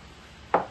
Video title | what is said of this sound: DIY Monitor Speaker | malakas ang tunog na pag kinatok mo ganun